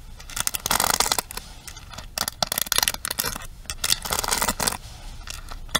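Long nails quickly strum and tap across the bristle pins of a pink plastic paddle hairbrush held upright. The result is bursts of bright, crackly scraping and rattling ticks, rising and falling in loudness with short pauses between rapid strokes.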